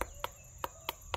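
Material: Fruit.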